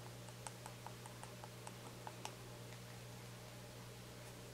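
Fingernails tap and scratch the black cap and body of a small white plastic shampoo bottle held in the hand. Light, irregular clicks with a pitch near 870 Hz and bright top edges sit over a steady low hum.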